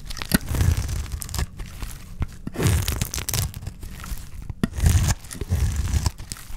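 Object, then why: Bar of olive soap cut with a knife blade. A solid rectangular bar of dry green olive soap, held in the hand, is shaved and cut with a utility knife blade, and curls of soap peel off onto a pile of shavings. Each stroke gives a dry, crunchy, tearing scrape that is heavy in the low end, with brief crisp high crackles as the blade bites. The strokes come in repeated bursts with short, quieter gaps between them.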